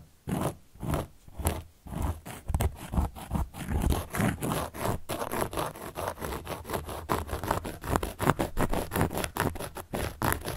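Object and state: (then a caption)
Cork board being scratched. A carving tool scratches across a large round solid cork board. It makes a run of short, dry, raspy strokes that start spaced apart and grow quicker and denser, with a low, papery body and little ring after each stroke.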